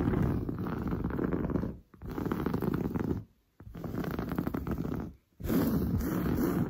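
Long blue nails scratch fast and aggressively across grey-brown, textured woven sofa upholstery over padding. The result is a dense, rough, low-heavy rasping in four sustained bursts separated by brief silences.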